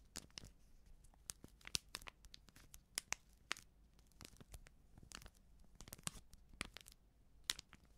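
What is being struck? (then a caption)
Filled coated-paper sachet. Long nails scratch and crinkle a small, filled Backpulver baking powder sachet made of coated paper. The result is a quiet series of sharp, bright crackles and scratchy ticks with almost no ring, spread unevenly over a faint low background.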